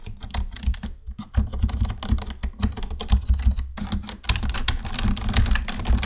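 Fingertip typing with both hands on a black plastic computer keyboard, a fast run of short, dry plastic key clicks with very little ring. The sound sits heavily in a low thump under scattered brighter clicks, and the typing grows busier and louder toward the end.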